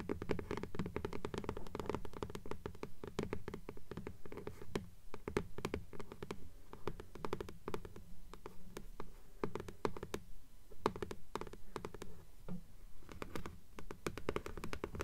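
Long nails tap and scratch quickly across the paper dust jacket of a blue hardcover "Fairies" book held upright, making dull, dry clicks with almost no ring in an uneven, fast rhythm. Softer scratching fills the gaps between the taps, and the hand lifts toward the end.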